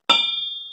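A hammer taps a steel crankshaft from a Mopar 5.9L Magnum engine, checked for cracks. One bright metallic strike at about 3.6 kHz rings on without going dull. The sustained ring shows the crankshaft is not cracked.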